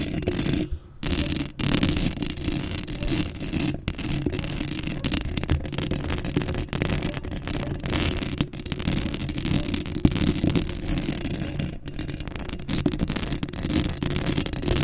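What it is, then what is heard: Metal mesh microphone grille being scratched. Long acrylic nails scratch across a black metal mesh microphone grille, making a steady, close, raspy scraping with a heavy low rumble and a faint bright hiss. The scratching runs almost nonstop, with a brief pause near the start and a few short dips between strokes.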